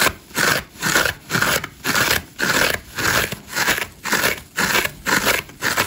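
Long nails and fingertips scratch fast and aggressively across the green foam surface of a hand-sized, dry, layered massage sponge with orange and grey layers and a solid porous body, sending crumbs flying off. The result is a steady run of dry, crackly, bright scraping bursts, roughly two per second, with very little low end and a faint tonal band near 1.5 kHz.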